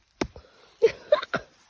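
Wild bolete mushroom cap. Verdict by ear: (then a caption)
Overmature. A wild bolete mushroom, picked in Norway and already old and overmature, is knocked several times. Each knock is a short, dull, mid-pitched tap that dies away almost at once, with a softer tap after the first and the later knocks louder.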